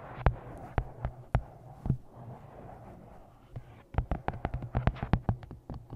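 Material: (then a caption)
Paper. Long nails tap on the front of a paperback copy of 'Twisted Love' with a glossy card cover held upright, giving 19 short, dry clicks with almost no ring. A few taps come slowly at first, then a quicker run follows after a pause, all over a steady low hum.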